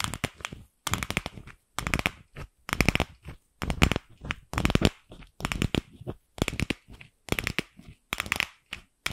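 Long pink acrylic nails scratch and tap a single light pink, palm-sized hollow plastic ball held in the hand. Bursts of rapid, sharp clicking and scratchy rasping spread from a low thud up to a bright edge. Each burst stops dead and is separated by brief silences, with no ring.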